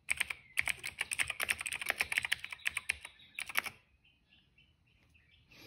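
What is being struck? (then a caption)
Plastic mechanical keyboard. Fingertips type steadily on the black keycaps of a plastic retro mechanical keyboard, producing about two dozen crisp, bright clicks with short decays and almost no low end, centered near 2.2 kHz. The typing stops just before four seconds, leaving near-silence with faint high chirps and a rise of high-pitched noise at the very end.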